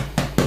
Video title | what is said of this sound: How to make bread | for a nice hollow sound when you knock it you should hear that hollow sound coming through